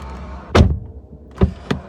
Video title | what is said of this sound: Mpak w dieslu i 450.000km 😅 - BMW E90 2.0d 177KM - MOTOPATRYK | dźwięk jest pełny bardzo porządny Czujemy że zamykamy po prostu wysokiej jakości drzwi